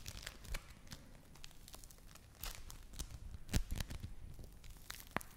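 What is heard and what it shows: A soft, beaded lump of yellow play foam (foam bead clay) is squeezed and pulled apart between fingers with long nails. It makes a steady run of quiet, crinkly crackling and tearing, with short sharp crunchy snaps and bright clicks scattered throughout.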